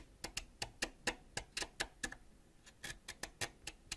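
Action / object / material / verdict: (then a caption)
scrape / wax crayon scraped with a ceramic blade / wax / none. A thin, solid purple wax crayon lying on a dark surface is scraped by the edge of a white ceramic knife, making a quick series of sharp, bright, ticking scratches with a brief lull midway. Purple wax shavings curl up from the crayon.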